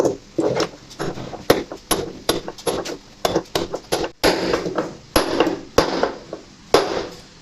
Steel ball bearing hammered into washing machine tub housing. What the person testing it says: Şu Tok sesi duyacaksınız bu sesi duyunca tamam.